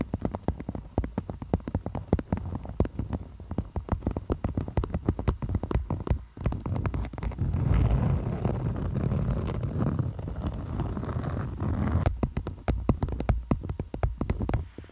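Long nails tap and scratch across a thin, stiff beeswax-coated cotton food wrap with a floral print, stretched over a microphone. Rapid, bassy taps and crinkles fill the first six seconds, then give way to a steady scratching rustle before the quick tapping returns near the end.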